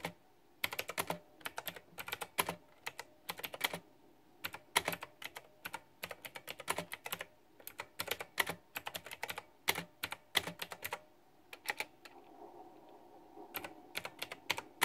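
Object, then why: Mechanical keyboard with round plastic keycaps. Fingertips and long nails type continuously on a white backlit, pink flower-themed plastic retro mechanical keyboard with round typewriter-style plastic keycaps. The result is a steady stream of sharp, bright, clacky key clicks that stop almost instantly. The typing briefly eases into a quieter lull around the twelve-second mark before picking up again.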